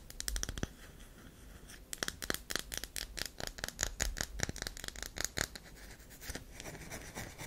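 Long acrylic nails scratch and scrape the carved, powdery face of a round solid bar of soap held in the hand. A quick run of short, dry, bright scratching strokes comes in bursts, with brief pauses between some of them, over a faint low hum.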